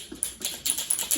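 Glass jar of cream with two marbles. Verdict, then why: Liquid. A glass jar holding liquid cream and two marbles is shaken at the start of butter-making. The marbles move freely through the still-liquid cream and clatter against the glass in sharp, bright clicks. The cream is not yet butter, because the marbles can still be heard.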